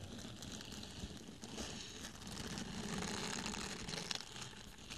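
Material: Foam.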